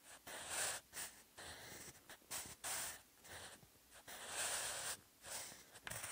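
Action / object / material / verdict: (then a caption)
scrape / wooden pencil on textured notebook paper / paper / none. A sharpened wooden pencil writes new characters in short strokes on a textured cream notebook page already filled with pencil handwriting. Bright, dry scratching comes in bursts separated by brief pauses, with almost no low end.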